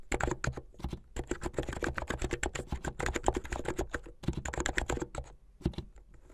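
Fingertips with long, rounded, painted nails type fast on a plastic keyboard with white plastic keycaps and blue backlit keys at the side. A rapid, uneven stream of short, dry clicks and clacks with a low thud under each press and a bright tick on top. It briefly pauses around the four-second mark and thins out near the end.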